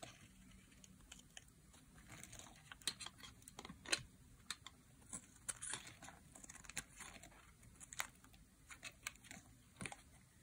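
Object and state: Dry bar soap being carved.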